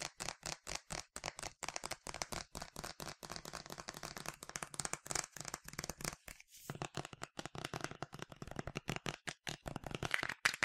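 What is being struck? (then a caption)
Plastic spray bottle. Fingernails tap quickly on the side of a medium, yellow, plastic sunscreen spray bottle with a translucent cap, hollow and partly filled. The result is a dense run of short, dry, bright clicks with a faint hollow body, briefly pausing around the middle before the rapid tapping resumes.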